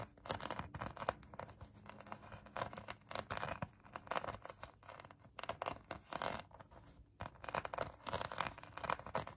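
Long acrylic nails scratch a pink polyurethane foam donut squishy toy, producing dense, rapid bursts of dry, bright scraping and crackly rasping. The scratches come in quick clustered strokes with brief pauses, closely miked and quiet.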